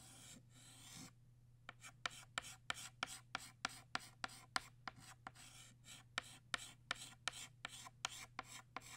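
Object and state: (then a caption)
Chalk scratching on a chalkboard. A green chalk stick scratches across a flat black chalkboard, thickening the stem of a drawn stroke. A brief continuous bright rasp gives way to about 20 quick, sharp, separate scratches over a faint steady low hum.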